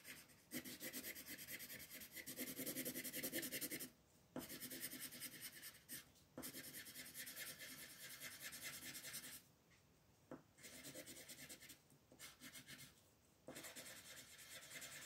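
A pink wooden colored pencil rubs back and forth across a flat white paper coloring page, shading a large petal. Bright, dry scratchy strokes come in long runs, broken by short quiet pauses where the pencil lifts.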